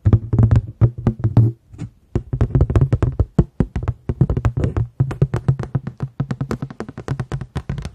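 A paper plate is tapped quickly and repeatedly, giving a steady run of soft, dull taps with a low, hollow body around 150 Hz and almost no bright content. Each tap dies away almost instantly, and the rhythm pauses briefly near the two-second mark before resuming.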